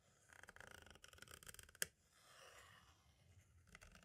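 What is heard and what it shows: A green-and-black striped tool traces and scratches across the label and near the window of a hollow plastic compact audio cassette shell. Quiet, rapid, bright scratching strokes come first, then one sharp click, followed by a softer, breathy rubbing hiss.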